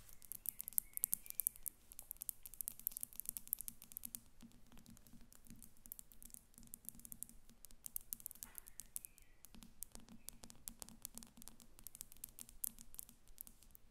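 Long acrylic nails tap quickly on both sides of a small, hollow, partly filled faceted glass perfume bottle standing on a table. The result is a dense, quiet stream of rapid, bright clicks and ticks that die away almost instantly, over a faint low hum.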